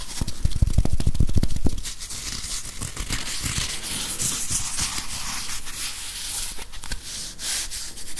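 Fingertips and nails scratch and rub a small grey whiteboard eraser, with a plastic body and felt pad, held close to the mic. For the first two seconds, rapid, loud, low scratches thump against the mic. Then the sound drops to a quieter, steady, bright scratchy rubbing that continues to the end.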